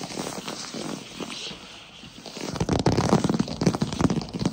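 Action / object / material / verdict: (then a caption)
tap / wooden floor / wood / none. Fast tapping on a wooden floor. It starts as soft, quiet tapping, then after about two and a half seconds turns into louder, rapid, irregular taps with a dull low thud and almost no ring.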